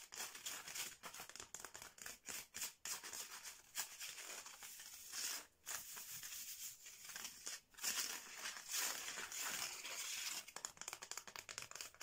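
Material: Bamboo.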